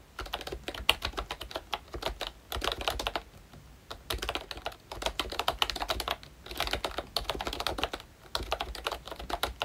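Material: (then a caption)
Plastic. Fingertips type on a full-size ROYCHE Disney Mickey Mouse retro membrane keyboard with a pink plastic case, a hollow body and round black plastic keycaps. Quick runs of short, bright plastic clacks come in bursts separated by brief pauses, with a faint low thump under each stroke. Each keystroke stops dead with almost no ring.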